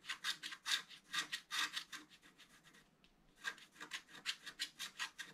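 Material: Coated paper.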